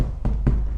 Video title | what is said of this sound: Creating a Great Art Studio | the canvas is very taught to the point where it sounds like a drum when you tap on it